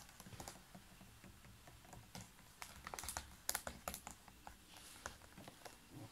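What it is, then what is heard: Plastic water bottle. Fingernails tap on the label area and the ridged sides of a large, clear, ridged PET water bottle full of water, held close to the mic. Quick, dry, irregular clicks sound with bright, crisp tops and almost no ring. A few louder taps cluster in the middle.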